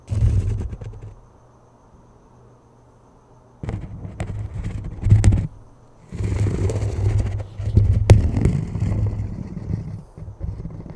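Fingers tap and scratch the rim and face of a thin plastic flying disc held close over a microphone. The result is bursts of muffled, low, thumping rubs and scrapes with a few sharp clicks, separated by near-silent pauses.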